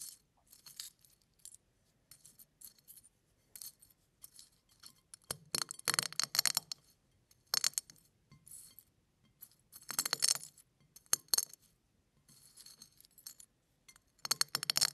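Fingers press and break brown eggshell halves and flakes resting on a plate. Short bursts of dry, bright crackling and crunching come and go with quiet pauses between them. The louder, denser crunches arrive around the middle and end of the clip.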